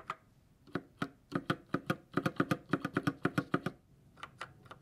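A gloved fingertip taps individual keys and the spacebar on a white GK61 60% mechanical keyboard with silver switches and plastic keycaps. About 22 short, crisp clicks with a low-mid thock come in an uneven, fairly quick rhythm, each dying away almost at once. After a brief pause, a few softer taps close the clip.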